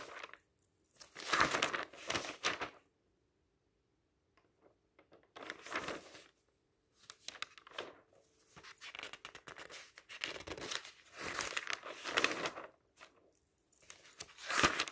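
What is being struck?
Thin paper magazine pages.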